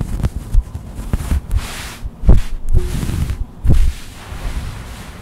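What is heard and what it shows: Long white acrylic nails scratch across a soft white faux-sherpa fleece blanket laid flat. The result is a series of muffled, low thumping and rubbing strokes with little high-end, each fading quickly.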